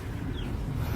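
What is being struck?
Nothing is struck.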